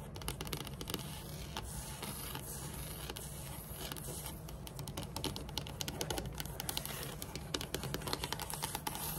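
Long metallic nails tap and scratch quickly across a large, flat, solid dark wood-grain tabletop. The result is a continuous run of rapid, sharp clicks over a dry scratching texture, growing slightly more pronounced in the second half.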